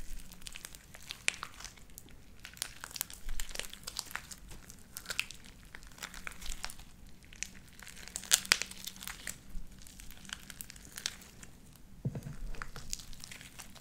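Light-blue sticky slime with white beads is stretched into strands and squeezed between the fingers of both hands. It makes a quiet, continuous run of crisp popping and crinkling crackles with bright, high clicks over a faint low hum.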